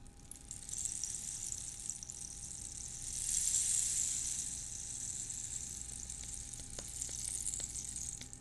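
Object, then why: Dried cactus wood rain stick. A long, hollow, ribbed rain stick made from a dried cactus skeleton is held upright in one hand, then tilted and shaken so the filling inside rattles, with some fingernail rubbing along the ribs. A dense, bright, hissing cascade of tiny rattles swells in the middle and continues steadily. A few sharper clicks stand out near the end.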